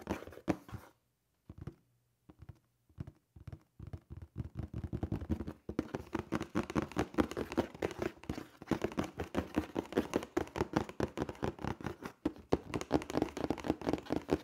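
Fingertips and nails tap and scratch the face of a hollow black cardboard shoe box held upright. Scattered, dull, hollow taps with short pauses give way after about five seconds to a dense, uneven run of quick tapping and scratching. The sound stays low-mid and papery, with each tap dying away almost at once.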